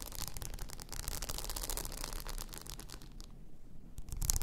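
Long nails scratch and rub across a blue rhinestone-covered tumbler lying on its side, making a dense, bright, crackly scratching with a low rumble underneath. The texture grows thinner and quieter in the high range for a moment near the end, then comes back louder in a final burst of scratching.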